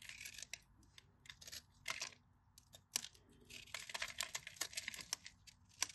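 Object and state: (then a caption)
Dry bar of soap being cut. A metal craft knife blade cuts and scrapes grid cubes off the surface of a solid, cream-colored bar of dry soap held in the fingers. The result is a run of bright, crisp crunches, sharp clicks and dry scraping that start and stop abruptly with quiet gaps between them, and the sound is almost entirely high-pitched.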